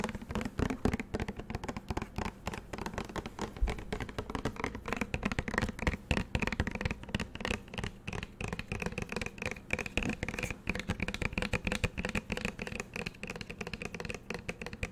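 Fingernails tap and scratch a green plastic shower gel bottle with a label, moving over both the bottle and its cap. Quick, dry clicks and scratchy rubbing sounds run continuously with a low hollow thump. The sounds are close and soft, with short bright edges.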